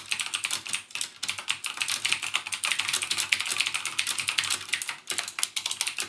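Fingertips type rapidly on the clicky Cherry MX Blue switches of a backlit plastic mechanical gaming keyboard. A fast, steady stream of sharp, bright clicks with almost no low end, each keystroke dying away almost instantly. The same keyboard is heard throughout.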